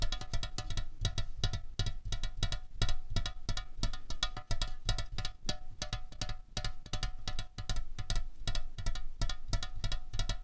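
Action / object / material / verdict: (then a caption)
tap / aluminium drink can / aluminium / none. Long fingernails rapidly tap a slim, hollow aluminium Coca-Cola Cherry can resting on a tablecloth. The taps land in quick, steady runs of short, dry clicks with a bright tick over a dull, low hollow thump, each one dying away almost at once.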